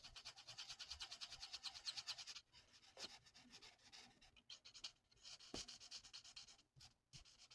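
A thin, flat sheet of printed paper on a table is coloured in with the felt nib of a plastic alcohol marker, using rapid back-and-forth strokes. The result is a bright, hissy scratching with quick rhythmic rubbing pulses. The strokes are dense and continuous for the first couple of seconds, then become softer and more broken up, with short pauses.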